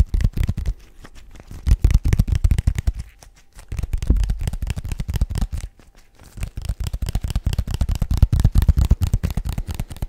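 A small, hollow, rigid white paperboard box is tapped rapidly with the fingertips and nails. The sound is a dense run of short, dull, low thumps with crisp clicky edges, coming in bursts separated by brief quiet pauses near the 3- and 6-second marks.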